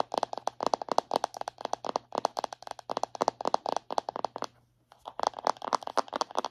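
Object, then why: Plastic body butter tub tapped with fingernails. Long acrylic nails tap and scratch the lid and rim of a round plastic body butter jar held in both hands. Quick, dry, clicky taps come in rapid bursts, with a brief pause near the end before they resume. A faint steady low hum sits underneath.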